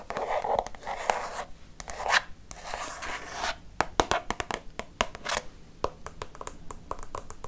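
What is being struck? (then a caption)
Plastic liquid soap pump bottle. Long fake nails scratch across a green Fa plastic liquid soap pump bottle, about 20 cm tall, hollow and apparently filled, producing bursts of dry, hissy scraping for the first few seconds. The nails then tap the bottle in a quick series of sharp, short clicks that die away almost instantly.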